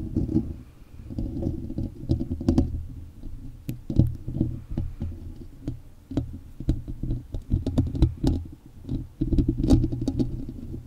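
Fingertips and short nails of both hands tap and scratch directly on the hollow, rounded metal mesh grille of a large silver USB microphone. The result is a dense, low, boomy rumble of close thumps and scraping, broken by many sharp, bright clicking taps throughout.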